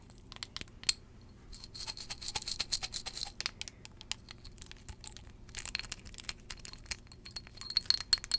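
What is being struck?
Small glass perfume bottle.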